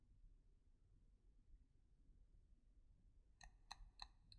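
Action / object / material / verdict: tap / painted wooden pencil / wood / none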